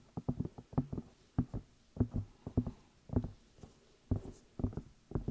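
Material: Silicone.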